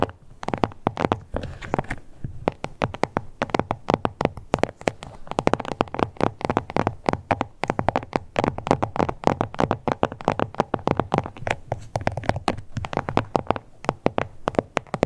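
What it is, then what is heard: Faux leather card holder. Long nails scratch and tap rapidly across the glossy surface of a small, flat, pink crocodile-embossed faux leather card holder. Dense, dry clicks and soft scratchy rubs follow one another with almost no ring, centered in the mid range with some low body and little brightness.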